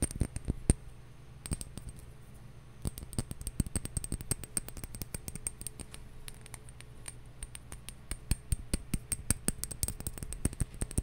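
A glass bottle is tapped at slow and then quicker paces, giving short, clinking glassy taps with bright, sharp attacks that die away almost at once. The taps come in loose bursts with a brief pause early on, then grow denser and faster over a low, steady background hum.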